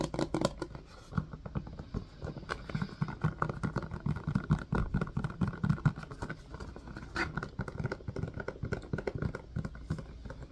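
Fingertips tap and squeeze the silicone domes of an empty, hollow blue silicone ice cube tray set in a white plastic frame. The result is a rapid, uneven stream of soft, dull, muffled thumps and pats that are mostly low in tone, with little high end. Each tap dies away almost instantly.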